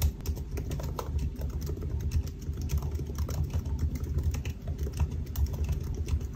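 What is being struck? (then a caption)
Laptop keyboard, plastic keys in aluminium body. Fingertips of both hands type continuously on the black plastic keys of a silver aluminium laptop. The result is a steady stream of soft, muffled key taps with a low, thuddy body and very little brightness, each tap dying away almost instantly.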